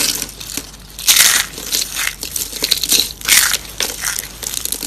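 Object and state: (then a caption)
Dried soap curls, dry and brittle. A hand with long painted nails crushes thin, dry pastel soap curls in green, purple and pink on a wooden surface, pressing them flat into shards. Bright, dry crunching and crackling comes in bursts of brittle snaps, with almost no low end.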